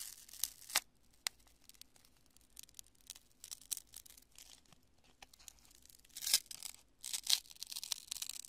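A fist-sized lump of cured polyurethane spray foam, solid and porous, is crushed and squeezed between both hands and fingertips. It gives quiet, bright crackling and crunching with sharp, tearing snaps at irregular intervals. Near the end, louder, longer bursts of crunching break out, with almost no low end beneath them.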